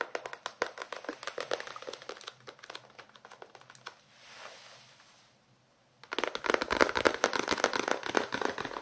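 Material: Paper.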